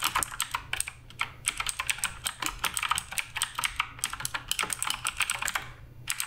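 Continuous fingertip typing on the plastic keycaps of a black RGB Redragon K588 Broadsword mechanical keyboard produces a steady run of short, bright clicks and clacks. Each keystroke is crisp and decays almost instantly, with a few brief pauses between bursts.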